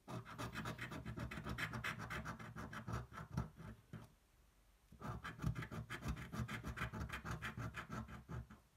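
A coin pinched in the fingers scratches the coating off a thin paper scratch-off lottery card lying on a table. Quick, rasping back-and-forth strokes run steadily, stop for about a second near the middle, then pick up again at the same brisk pace. The sound is a dry, low-weighted scraping.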